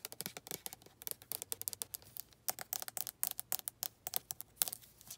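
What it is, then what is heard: Plastic lotion bottle. Long red nails tap and scratch quickly across a white, hand-sized, hollow plastic lotion bottle, moving over its body, label and cap. About thirty quiet, bright, dry clicks and scrapes come in a rapid, uneven rhythm. Each dies away almost instantly, with very little low end.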